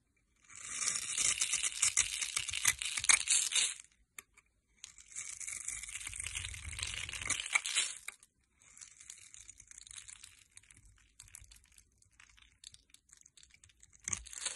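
A metal blade cuts and scrapes crumbly pieces from the top of a solid, rounded-rectangle green soap bar held in the hand. The result is bright, crackly, crunching scrapes in several bursts, loudest at first and then softer and more scattered.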